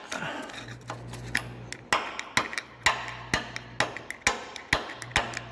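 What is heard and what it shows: A tool taps and scrapes along the rusty steel front lower control arm of a diesel FJ Cruiser, giving sharp, bright metallic clicks with a very short ring over a gritty scraping rasp and a low steady hum. The arm looks badly rusted but is not rusted through, so it passes.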